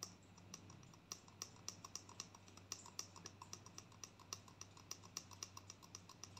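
A gold plastic conditioner tube is held up and tapped rapidly with long nails, making quick, bright, clicky taps that come in an uneven, irregular rhythm. Each tap is short and dry with almost no ring, over a faint, steady low hum.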